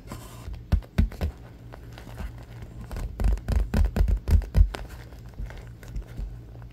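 A palm-sized purple stuffed cube covered in vinyl, soft, is tapped and scratched with fingertips and short nails, then held and squeezed in both hands. Dull, muffled low thumps and soft scratchy rustles come in an irregular, quick pattern, with no ringing after each touch.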